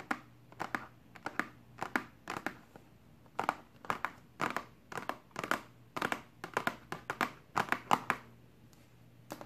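Long pink acrylic nails tap and scratch the top of a flat, hollow, rectangular pink-and-white printed cardboard box from a BH Cosmetics Carnival makeup brush set lying on a table. The result is a rapid, irregular run of short, dry clicks and crinkly scrapes centred in the mid range, each dying away almost instantly over a faint low hum.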